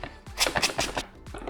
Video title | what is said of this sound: Sony A7 IV Unboxing & Controls | there's definitely something rattling inside